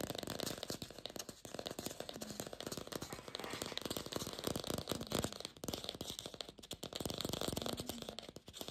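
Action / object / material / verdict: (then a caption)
tap / plastic artificial apple / plastic / none. Long pink fingernails fast-tap and scratch a glossy red artificial apple with a stem, likely hollow plastic. A dense stream of quick, dry clicks runs over a bright, scratchy rustle, with each tap dying away almost instantly.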